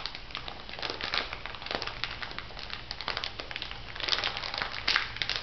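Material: Plastic, salt.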